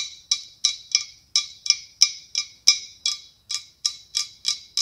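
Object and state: Glass pumpkin, hollow.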